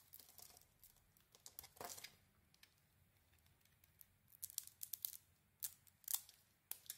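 A solid white bar of soap with a dark painted, textured coating is held in the hand and carved with a utility blade, scraping off curls. Quiet, bright, crisp scraping and crackling strokes come in short bursts with pauses between them. There is almost no low end and no ring after each stroke.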